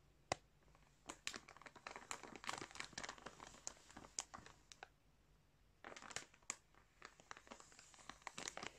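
Fingertips scratch and pinch a clear plastic bag stuffed with colourful yarn, crinkling it up close. Quiet, bright crackles and crinkles come in rapid, dry bursts with no ring, pausing briefly in the middle before starting again.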